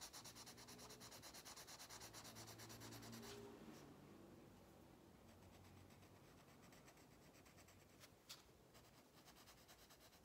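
A pink wax crayon held in the fingertips is rubbed in fast strokes across an open paper coloring book page lying flat on a table. The result is a steady, rhythmic scratchy rubbing with a bright, hissy texture, over faint low tones in the background. A sharper scrape stands out near the end.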